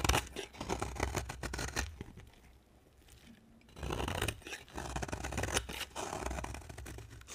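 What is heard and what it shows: A hand with long black nails holds a solid cream bar of dry soap while a utility knife blade scrapes thin shavings off it. Dense, crisp scraping and crunching bursts carry a bright edge over a low rumble. The sound goes quiet for about a second and a half midway, then the scraping resumes.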